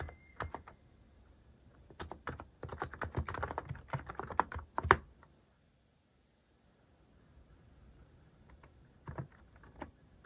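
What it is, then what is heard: Mechanical keyboard with plastic keycaps. Fingertips type slowly on a cream plastic-cased mechanical keyboard fitted with cat-themed plastic keycaps. A few scattered clicks give way to a denser run of short, clacky keystrokes, then a pause, and a few last taps near the end.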